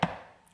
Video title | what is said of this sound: J'ai découvert les reliés ... sauvez moi ... - Book Haul 📚 | en gros c'est des rigides vous voyez